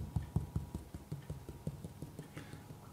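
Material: Gypsum plasterboard.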